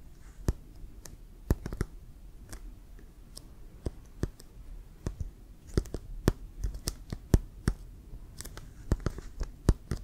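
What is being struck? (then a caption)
Leather American football. Fingertips and nails tap and scratch the surface of a brown Wilson leather American football with laces, hollow and inflated. Short, sharp clicking taps come in an irregular series, each bright and dry with almost no ring. Soft scratching and a low background rumble run underneath.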